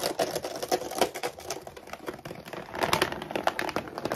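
Fingernails rapidly tap and scratch across the front of a full laminated plastic dog food bag lying flat. A dense stream of quick, crisp, crinkly clicks and scrapes follows, with papery mid-range taps, bright edges and almost no low end. The clicks are short and dry with no ring, and they grow busier and louder toward the end.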